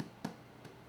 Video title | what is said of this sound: How to make sourdough bread at home. | that sounds Hollow and that means that it's definitely done